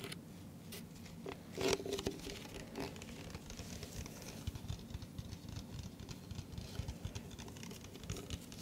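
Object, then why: Thin plastic cup. An empty, hollow, hand-sized clear plastic iced-coffee-style cup is held in both hands close to the microphone and tapped and scratched with fingertips and nails. A quiet, steady patter of light taps and scratchy rustles runs throughout, with a brief louder, brighter burst of tapping early on. Each tap dies away almost instantly, with only a faint hollow plastic ring.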